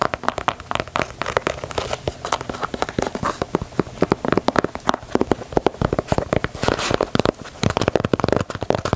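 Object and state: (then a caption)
Leather sneaker. Fingertips and long nails rapidly tap and scratch the leather side panels and swoosh of a black and white leather low-top Nike Dunk, held hollow and empty in the hands. The result is a dense, continuous stream of short, dry clicks and scratchy crinkling with no ring after each hit.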